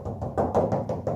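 Knuckle knocks on the front section of a steel car hood panel, where an under-hood insulator liner is installed, give seven dull, short thuds centered around 540 Hz with almost no high-frequency ring. The knocks sound solid and damped rather than hollow, as the extra insulating material absorbs the tinny, tin-can resonance of the bare metal.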